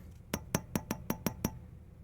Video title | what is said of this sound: Testing the Hedge Tube Amplifier - Hedge Amp Part 11- Final | how these three have like a thump, but this one rings. Hear how it rings? That's a bad tube.